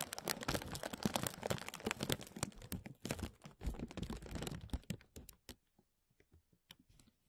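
Fingertips and nails tap and crinkle a thin, clear, embossed plastic vacuum-seal bag stretched over a mesh mic dome, making dense crackling and rustling with sharp clicks. The sound is busy for about five seconds, then thins out into sparse, separate taps before falling silent.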